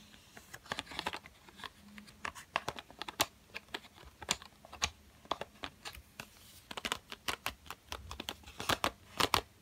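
A yellow Crayola cardboard box full of coloured pencils, visible through its window, is tapped and scratched on its printed front with fingertips and short nails. Dense, quick, dry clicks and bright scratchy rasps come in irregular bursts. Each sound dies away almost at once over a quiet background.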